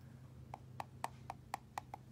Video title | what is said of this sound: How to check your eggs for cracks | tell by that hollow sound that I've got a crack so this is a cracked egg it's not good